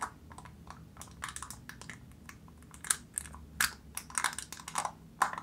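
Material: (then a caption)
Foil. Long nails tap on the silver foil seal of an open black plastic jar, making a quick, uneven run of sharp, crinkly clicks. Each tap is short and bright with almost no ring and little low end, and a few louder taps stand out near the middle and end.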